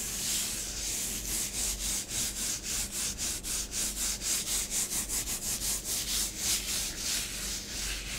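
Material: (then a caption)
Powder. Fingertips and nails rub swirls and sweep through a layer of orange bath bomb powder on a grey plastic tray. Soft, bright, hissy scratching strokes repeat in a loose, steady rhythm of a few per second, over a faint low hum.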